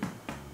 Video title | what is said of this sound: How to make Pan de Agua (Puerto Rican Bread) - Easy Puerto Rican Recipe | if it sounds hollow on the inside, you know you are doing good